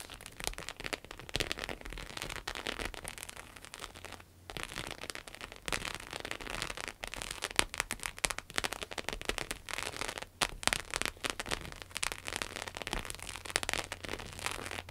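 Long acrylic nails tap and scratch the back of a red croc-embossed, croc-textured vinyl wallet lying on a table. The result is a dense, fast, bright crackle of tiny clicks and scrapes that patters like rain, with occasional sharper taps and a faint low hum underneath.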